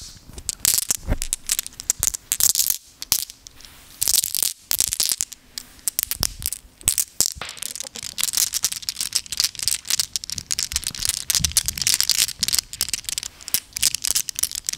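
A small handful of solid, flat glass gems is held in both cupped hands and jiggled, so the gems clink together under the microphone. The result is a dense, bright rattle of quick, high clicks and ticks in irregular bursts, with very little low end and almost no ring after each contact.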